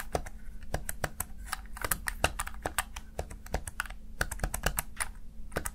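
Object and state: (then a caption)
Plastic gaming keypad. Fingertips tap and press the keys of a small black plastic backlit gaming keypad, a Razer Tartarus Chroma, producing a rapid, uneven series of short, dry plastic clicks. Each click dies away almost instantly over a steady low hum, and some presses bunch into quick double taps.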